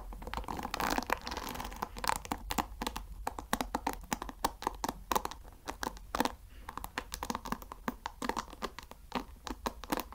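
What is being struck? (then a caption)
Wooden paddle hair brush with wooden pins. Fingertips and nails scratch across the wooden pin bristles of a light wooden paddle hair brush. The result is a rapid, dense run of dry, crisp clicks and scratchy crackles with no ring, centred in the midrange over a faint low hum.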